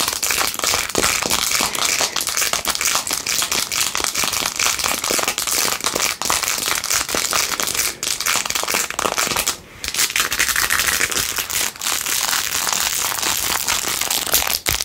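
Long acrylic nails scratch quickly across the blue acrylic rhinestones on a handheld clear/white plastic phone case with a metal ring holder. The result is a dense, continuous, bright crackling and clicking texture with almost no low end. There is a brief dip in loudness just before the ten-second mark.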